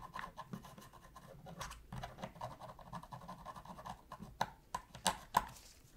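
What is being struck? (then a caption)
Plastic game controller. A thin metal pick scratches along the seams beside the Sony logo and D-pad of a black hollow plastic PS3 controller while cleaning it. Soft, rapid, uneven scraping with a midrange tone around 1 kHz runs for about four seconds, then four sharper, louder clicks stand out near the end.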